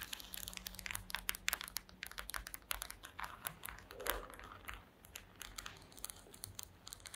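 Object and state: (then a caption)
Woven wooden slat mat. Long green acrylic nails tap across the slats of a woven wooden slat mat in rapid, irregular bursts. The result is a dense run of short, dry, bright clicks with a light crinkly texture, over a faint low hum.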